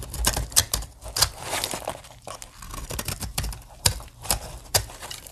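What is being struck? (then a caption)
Bar of soap cut with a blade. A blade cuts scored plates on a solid green dry soap bar, and fingertips break them off, letting flakes fall onto the table. The sound is a run of crisp, bright snaps and short dry clicks over a steady crumbly scraping and crackle, each snap dying away almost at once.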